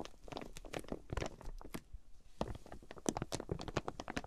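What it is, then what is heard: Plastic-wrapped quilted fabric package. Long painted nails tap and scratch the clear plastic wrap on a flat folded quilted fabric package with card price tags on top, lying on a fluffy mat. Quick, dry tapping and scratching crinkles run throughout, with brief bright plastic rustles and low, soft thumps.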